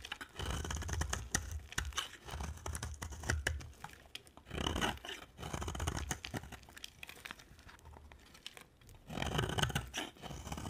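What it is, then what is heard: Dry soap bar carved with a blade. A thinned solid cream bar of dry soap is carved with a utility-knife blade, its shavings piling up on a white surface. Dry, crumbly scraping and crackling come in long strokes, with a low rasp under bright, gritty flecks. The strokes swell in louder bursts near the start, the middle and the end, separated by quieter pauses.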